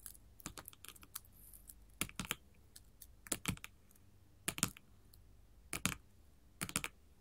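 Long gold metal filigree finger claws scratch and tap on a flat sheet of colored glass mosaic tiles. Quick clusters of bright, clicky taps and brief scratches arrive in bursts, each dying away almost instantly. Quiet pauses between bursts leave only a faint low hum.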